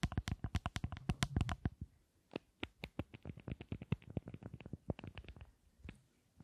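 Long nails tap a small, solid, rectangular Tom Ford lipstick case with a gold metal frame and glossy black panels, held close to the microphones. A fast run of short, dry clicks with a low, thumpy body and almost no ring pauses briefly, then continues in a looser rhythm. The clicks thin out and soften toward the end.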